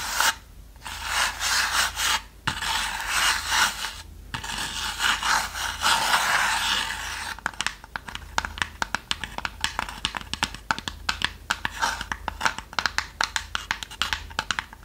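Long nails scratch and rub across the surface of a small, hollow, unfinished light-wood box with a brass latch. A steady, hissy rasping fills the first half with brief pauses, then gives way to a rapid, irregular run of short, sharp scratching clicks.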